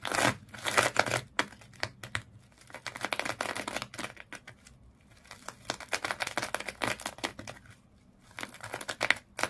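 Long fingernails on both hands scratch the coils of colored twisted sisal or jute rope wrapped around a small fish toy. The result is dense, rapid bursts of dry, bright, crackly rasping that come in flurries, separated by brief quieter pauses.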